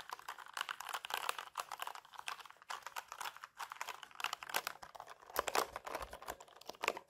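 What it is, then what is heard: Plastic mechanical keyboard. Fingertips with longish natural nails type rapidly across a full-size black mechanical keyboard with plastic keycaps and hollow key switches, resting on a lap. Dense, clacky key-press taps come in quick bursts with short pauses, bright and crisp with very little low end.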